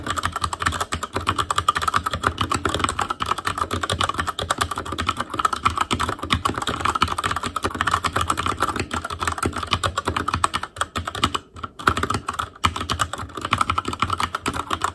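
Both hands type with their fingertips on a backlit Asus Claymore Core mechanical keyboard with plastic keycaps. The result is a steady, rapid stream of short, dry keystroke clicks with a bright clack centered around 1.3 kHz. The typing pauses briefly near the 11.5 and 12.5 second marks.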